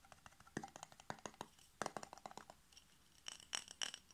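Fingertips and nails tap quickly on the glass sides and yellow metal screw lid of a glass jar with pale contents. The result is a rapid, uneven run of short, dry clinks and ticks with a bright, glassy edge and almost no ring. A few sharper, higher-pitched pings stand out near the end.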